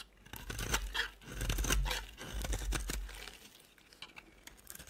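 A utility knife blade shaves curls off a dry, solid cream-colored soap bar held in hands with dark red nails, dropping them onto a large pile. The strokes come as dry, crunchy scraping and tearing bursts with bright crackle and a low rumbling undertone, swelling loudest in the middle and then thinning to softer, scattered scrapes.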